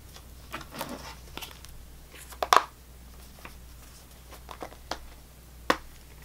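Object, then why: Plastic blister pack of chewing gum. A small Extra chewing gum pack with clear plastic blister bubbles and a cardboard/foil backing, partly full of gum pieces, is held in the hands and tapped and scratched with long painted fingernails. About eight sharp, quick plastic clicks and taps, centred around 1 kHz with bright edges, stand out over soft scratching and crinkling, with the loudest pair near the middle of the clip.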